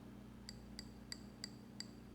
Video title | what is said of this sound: Grounding Technique using Orange Juice | really like light ting at the top